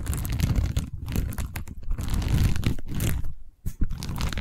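Long nails scratch and tap along the weave of a long cylindrical tube covered in woven seagrass/straw, held horizontally. The result is a dense, dry crunching and crinkling texture, heavy in the low end, with rapid scraping strokes and a few brief pauses, the clearest near the 3.5-second mark.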